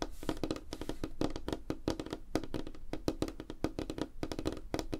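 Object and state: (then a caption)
Wooden tabletop. Fingertips and nails tap rapidly on a flat, solid light wooden tabletop. The result is a quick, uneven stream of short, dry knocks with a woody tone around 310 Hz and a low thump beneath, plus brief bright nail clicks. Each knock dies away almost at once.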